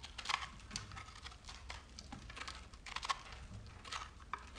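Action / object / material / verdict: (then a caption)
scrape / bar of soap scraped with a metal knife / soap / none. A solid speckled bar of soap held in the hand is scraped and cut with a metal knife, crumbs falling off as it crackles. Many short, dry, bright scraping and crunching ticks run in uneven bursts over a low steady hum, with sharper cracks standing out near the start and middle.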